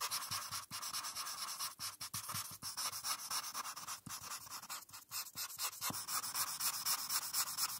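A felt-tip marker is rubbed back and forth across a flat paper coloring page while shading in a blue background. The result is a steady, bright, hissy scratching made of quick, uneven strokes, with short dips between some passes.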